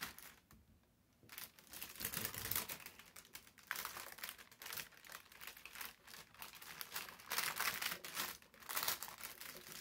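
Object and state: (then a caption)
Brown baking paper. Hands with short nails rub, lift and fold a large, thin, crumpled sheet of brown parchment baking paper on a table. After a brief quiet moment at the start, dense, bright crinkling and crackling rises and falls in bursts.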